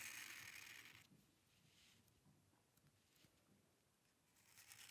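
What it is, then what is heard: Paper scratched by a pen nib. The metal nib of a dip pen scratches across a flat sheet of white drawing paper as it draws curved strokes, making a bright, papery scratching. The scratching is loudest for the first second, softens into quieter, irregular strokes through the middle, and grows stronger again at the end.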